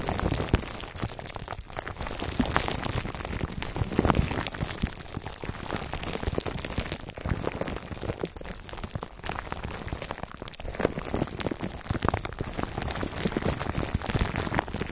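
Fingertips scratch and rub the sides of a foam microphone cover wrapped in clear plastic. A dense, continuous stream of close crinkling and crackling runs throughout, with heavy low rumble and a muffled, dull tone. Brief louder bursts rise around the 4-second mark and again after 11 seconds.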